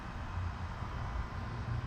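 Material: Nothing is struck.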